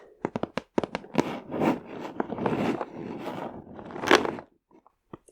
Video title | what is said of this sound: ASMR 🌺 Very Delicate Tapping and Scratching 💅🏻 | we also have like a little bit of shakiness to it